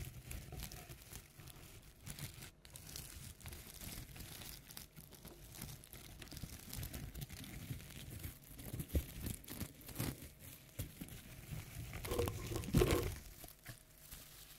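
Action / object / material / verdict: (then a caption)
scrape / tinsel pipe-cleaner toy spider / tinsel / none. A black and pink tinsel pipe-cleaner toy spider with a pom-pom body, resting on a table, is scratched and rubbed with long nails. Dense crinkling, rustling scratches run throughout, with soft low-heavy brushing. A brighter, louder burst of scratching comes near the end.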